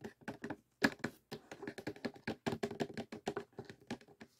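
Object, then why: Cardboard jigsaw puzzle box. Fingertips and nails tap on the printed lid of a closed, hollow rectangular cardboard jigsaw puzzle box (The Kiss) filled with pieces and resting on a table. The result is a quick run of about 26 soft, dry, hollow taps. Each tap is short, with a faint low-mid body and a brief ticking edge.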